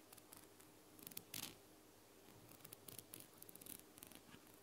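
Long blue nails scratch and tap the white ribbed plastic dropper cap and clear bulb of a small amber glass bottle held sideways. The result is quiet, bright, scratchy ticks and rasps in short bursts, with brief louder scrapes and little low end.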